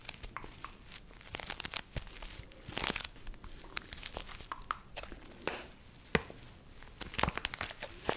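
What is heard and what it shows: A medium purple printed plastic/foil stand-up snack pouch, held in both hands close to the microphone, is crinkled and squeezed by fingers with long nails. The result is dense, dry crackling with sharp, bright snaps and tearing-like rustles, each dying away almost instantly.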